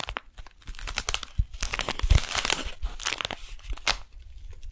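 Long nails tap and scratch a flat brown kraft paper package with a beeswax wrap inside, as the package is held vertically and then horizontally. Dry, bright crinkling and papery scratches come in quick bursts, with soft low thumps under the taps and almost no ring after each sound.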